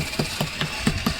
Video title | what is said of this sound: How to fix rotton wood when painting a house forever | I'm able to tap on it now, and it's hard.